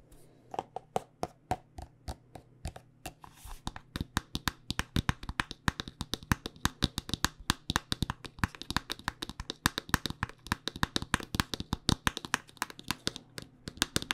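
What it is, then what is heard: Plastic lotion squeeze tube. Long nails tap rapidly on a white plastic lotion squeeze tube and its red screw cap, making a steady stream of short, dry clicks and taps. The taps speed up after the first few seconds and continue densely, over a faint low hum.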